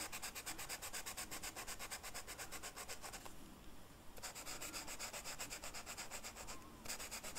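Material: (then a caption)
Flocked paper. The felt tip of a blue marker is rubbed in small back-and-forth coloring strokes across a flat black velvet-flocked paper sheet. It makes a quick, steady, soft scratchy rubbing with a bright hiss. The strokes stop for about a second near the middle, then resume with a brief break just before the end.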